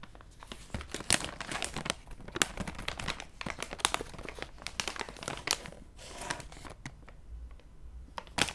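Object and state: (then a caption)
Plastic snack bag. A full, flexible, purple printed plastic resealable bag of mini muffins is held in both hands and squeezed and crinkled with the fingertips while being opened at the top. Dense, bright crinkling and sharp crackles come in quick, uneven bursts throughout, with a softer rustling stretch near the end.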